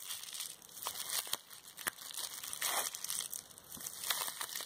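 A small balled-up wad of clear plastic bubble wrap with hollow air bubbles is squeezed in one hand with long red nails close by. It gives off dense, bright crinkling and crushing with sharp crackles, with almost no low end. The wad keeps rustling steadily for the whole clip.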